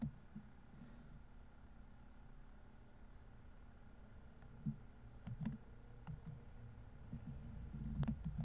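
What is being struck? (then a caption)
Plastic laptop keyboard keys. Single fingertips tap the keys of a silver plastic laptop keyboard, producing soft, low, dull key taps with faint bright clicks. The taps are quiet, short and irregular, sparse at first and then coming more often toward the end over a steady low background hush.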